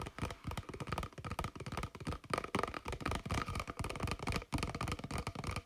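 Fingertips and nails tap and scratch rapidly along the body of a clear, thin plastic Kirkland water bottle with a blue cap, hollow and empty or nearly empty. Dense, crinkly taps carry hollow low thumps and a faint ringing tone near 1.2 kHz, each dying away almost instantly, with brief scratchy rasps between them.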